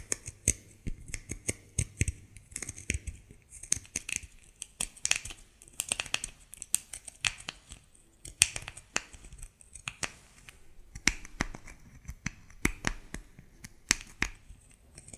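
A solid white bar of soap held in the hands is scratched with long nails, producing a rapid, irregular series of sharp, dry scratching clicks and short rasps. The sound is bright and crisp with almost no ring, over a faint low rumble.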